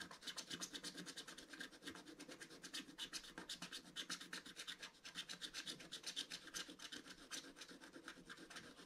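A wooden stylus scratches continuously across the lower motif of a flat scratch-art paper card with a black coating, making dense scraping strokes. It sounds like a steady run of quick, dry, bright rasps, about four per second, concentrated in the upper range with little low end.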